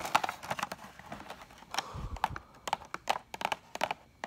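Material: Cardboard.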